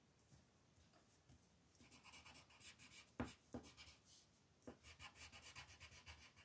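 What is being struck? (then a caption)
Paper sheet shaded with a wooden colored pencil. A green wooden colored pencil is rubbed in short strokes to shade a flat white paper mandala sheet lying on a table, while the other hand rests on the paper. Soft, bright, scratchy rasping comes in quick, uneven bursts, broken by a few sharper ticks as the pencil tip meets the page. The whole clip stays quiet and close.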